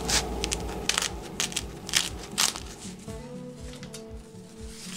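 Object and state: Crispy baked baguette crust.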